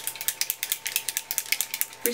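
An aerosol can of Maybelline Dream Nude Air foam foundation, an air-infused makeup with broad-spectrum SPF 16, is shaken before use as the product requires. About 16 quick, bright rattling clicks are heard in a steady rhythm, each dying away almost at once, with a faint steady tone underneath.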